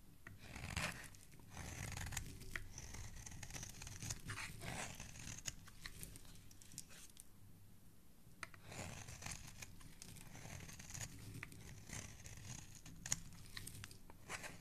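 A metal blade scrapes across the surface of a solid, palm-sized green speckled bar of soap held in fingers with dark nails, shaving off flakes. Quiet, dry rasping and scratching strokes carry a bright, high hiss over a soft low rumble. The scraping pauses briefly near the middle before resuming in short bursts.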